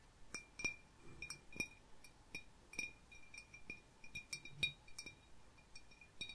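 Fingertips and medium-length painted nails tap and click along the sides and wavy, fluted rim of a small, clear, hollow, empty glass bowl held up close in both hands. An irregular series of light, sharp clinks each rings briefly at a bright tone near 2.4 kHz, with high overtones above it.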